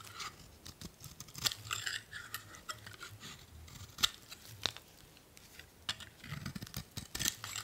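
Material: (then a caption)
Soap. A solid blue bar of soap is held in the hand and scraped and cut with a metal utility blade, peeling off curled shavings. Dry, bright scraping and crisp crunchy cuts come in quick irregular strokes, with a few sharper snaps standing out.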